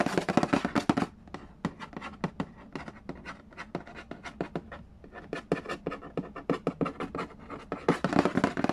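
Fingertips tap and scratch the glossy lid of a hollow cardboard Yahtzee board game box. Bursts of dense, rapid scratching open and close the clip, with quicker, sharper dry taps spaced through the middle. Each tap is crisp and short with no ring.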